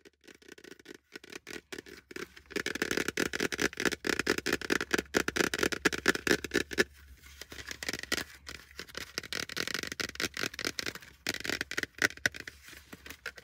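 A plastic hard hat is tapped fast and aggressively with fingers throughout, giving dense, irregular clusters of short, dry clicks and patters. The taps have a hollow, mid-bright plastic tone. Bursts come and go in intensity with brief pauses, and there is almost no low end.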